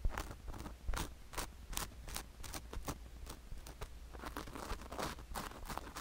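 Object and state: Sugar-coated silicone ear microphone being scratched.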